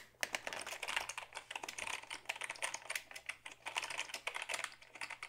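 A black Dell keyboard of hollow plastic is held up and typed on with the fingertips. Steady, rapid clicking and tapping runs throughout, each keystroke short and bright with almost no ring and very little low end.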